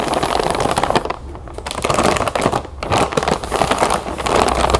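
Hands with long nails press and scratch a large clear plastic zip bag full of round puffed cereal lying on a table. Dense, continuous crinkling of the plastic mixes with the crunch of the puffs, easing briefly to quieter rustling before building again.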